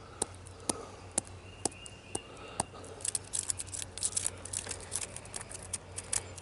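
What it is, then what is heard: Solid tree trunk bark. Fingertips and knuckles tap and scratch the ridged bark of a solid tree trunk. Six sharp, dry taps with very short ring come evenly spaced over the first few seconds, then a denser run of quick taps and bright scratching fills the rest. A faint steady low hum runs underneath throughout.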